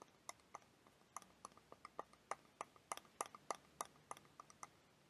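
A small clear plastic liquid motion timer toy, filled with blue liquid and yellow wheels, is held in one hand and tapped with long dark-painted nails. About nineteen quiet, crisp clicks with a bright edge come at an uneven pace, each stopping dead with no ring.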